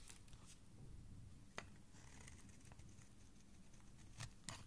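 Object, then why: Bar of soap cut with a blade. A solid pink soap bar is held in the hand while a dark blade cuts and scrapes curls from the middle of the bar. Soft, steady scraping rides over a low rumble, broken by a few sharp, bright clicks as the blade bites into the soap. Thin curls are shaved away from the bar.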